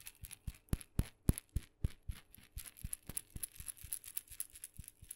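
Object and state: Wooden mini maraca.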